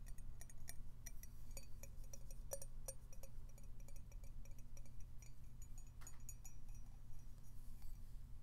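A colourful floral-patterned ceramic mug with a white base and interior, hollow and held in the hands, is tapped with fingernails on its side and bottom. Quick, light clicks ring out with bright, glassy high tones over a steady low hum.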